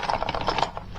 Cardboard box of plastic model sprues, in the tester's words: You can already tell there's a lot of plastic in here. You can hear it when you shake it.